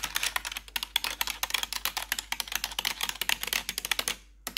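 Metal claw nails tap and click rapidly across the keycaps of a black plastic backlit computer keyboard. The result is a dense stream of sharp, bright plastic clicks with almost no low end and no ring. The tapping pauses briefly near the end before one last click.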